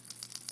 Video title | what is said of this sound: Lure Review- Lucky Craft Gunfish | there's actually a rattle chamber up here that has some plastic balls in here